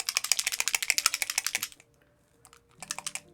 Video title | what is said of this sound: nghề nghiệp Phóng khoáng C nghĩ phần 1002 | when you shake it you can hear it has mixing balls in it